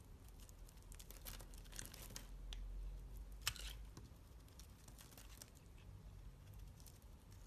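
A utility knife blade scrapes across the surface of a solid dark purple soap bar held in the fingers, flaking it off in dry, crinkly scratches over a low background hum. The quick, uneven strokes give a bright, papery crackle, with one sharper scrape standing out about midway through.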